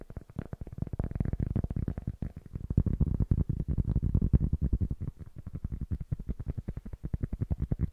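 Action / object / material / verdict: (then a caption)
tap / cork block / cork / none. Fingertips and nails tap quickly on the surface of a small, solid-looking rectangular cork block held in both hands close to the microphone. The taps come in a fast, uneven stream, each one short, dry and muffled, with a soft, low thudding tone and almost no bright top end.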